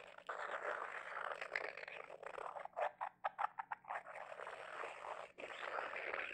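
Fingertips and medium-length nails rub and scratch the glazed surface of a small white glossy ceramic double-bulb figurine, likely hollow, cradled in both hands. Steady dry rubbing fills the clip, broken near the middle by a run of short, separate scratches before the continuous rubbing resumes.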